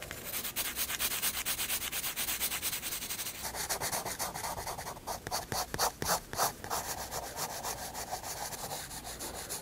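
A graphite pencil held upright shades hair on the flat white paper page of a spiral sketchbook with quick, scratchy back-and-forth strokes, about four per second. The rasp is bright and papery, with little low end. Midway the strokes turn denser and fuller-bodied, with a few louder, harder passes before settling back into steady shading.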